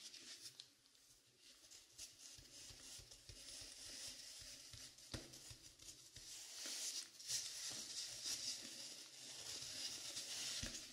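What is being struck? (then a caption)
Velvet-flocked binaural dummy head microphone. Fingertips in white cotton gloves tap and rub the top and sides of a dark blue velvet-flocked binaural dummy head microphone. The result is a quiet, steady stream of soft scratching, brushing and pattering taps, almost all of it bright, airy hiss with very little low end.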